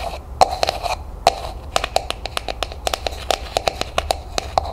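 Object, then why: Plastic cup. Long nails tap and scratch the textured surface of a hollow, empty pink frosted plastic cup, held first on its side and then upright. Quick, dry clicks with a short hollow ring around 750 Hz stand out over a soft scratchy hiss. Each tap dies away almost instantly.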